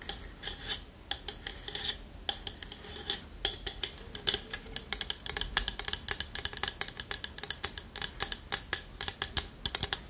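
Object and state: Wooden lidded bowl tapped with nails.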